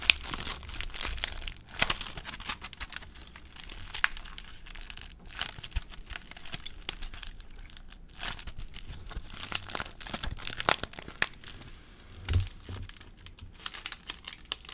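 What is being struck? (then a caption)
Crumpled aluminium foil ball. A crumpled aluminium foil ball is squeezed in both hands, producing continuous bright crinkling and crackling throughout. Sharp crackles and low handling thumps stand out, with a louder burst near the end. The crinkles are dry and short, with almost no ring.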